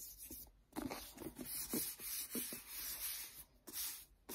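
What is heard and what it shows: Fingertips tap and rub the cover of a paperback book, then handle the page edge. Soft, muffled taps mix with bright, hissy brushing and scraping that rises and falls in short strokes. The sound stays quiet and close, with short gaps between strokes.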